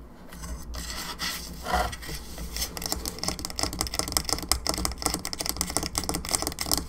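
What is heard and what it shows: Long nails scratch and rub across the surface of a hollow plastic skull candelabra lamp. A dry, bright rasp of quick strokes builds from soft, slower rubbing into a dense run of short, sharp scrapes, over a steady low hum.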